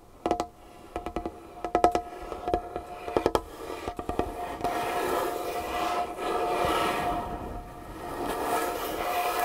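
Long nails tap about nineteen quick, sharp, dry knocks on a large, solid, varnished wooden tabletop, each with a faint mid-pitched ring. After about four and a half seconds they switch to a steady, hissy scratching across the surface that lasts to the end.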